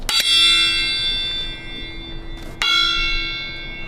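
A steel railway carriage wheel is struck twice in a traditional wheel-tap safety check, and each blow rings out like a bell with a clear high note that decays slowly. The tap is meant to reveal a fracture through a change of note, and the wheel sounds normal with no fracture.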